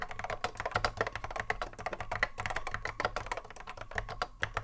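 A cream Apple M0110A keyboard with a hollow plastic case and Alps SKCC mechanical switches, resting on a wooden desk, is touch-typed continuously with the fingertips of both hands. A rapid, uneven stream of short, crisp clacks carries a hollow plastic midrange tone near 720 Hz and a soft low thump beneath. Each keystroke dies away almost at once.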